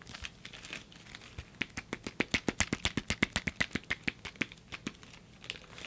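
Fingers tap on the padding of a bulky padded nunchuck while its metal chain is held down to keep it quiet. The result is a quick, irregular series of soft, crisp taps with a bright, slightly crinkly click, about four per second. The taps are faint at first, grow sharper in the middle and trail off at the end.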